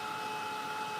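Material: Nothing is struck.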